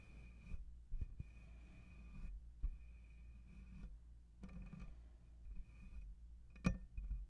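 Fingertips and nails of both hands rub and scratch the metal mesh head of a black condenser microphone. The result is a close, low, rumbling scrape that swells and fades in bursts, broken by a few sharper scratching knocks, over a faint steady high tone.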